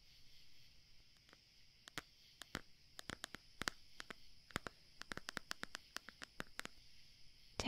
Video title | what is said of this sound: Soothing The Voice Of A Banshee - ASMR Roleplay [F4A] [Goth Girl] [Tapping] [Writing Sounds] | tapping on this CD cover actually sounds really nice